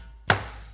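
A sumo stablemaster demonstrates teppo, striking a real wooden teppo pillar hard once with his open palm. The result is a single sharp, heavy slap-thud with a low body around 100 Hz that fades quickly, sounding completely different from the earlier, lighter strikes.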